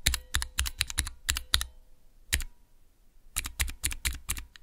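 Fingertips press clear plastic keycaps on a small, hollow plastic mechanical keyboard switch tester fitted with Cherry MX switches. Quick bursts of sharp, dry clacks carry a deep low thump under a bright, clicky top, with each press dying away almost at once. A short flurry of presses gives way to a near-silent pause, then another run of clacks follows.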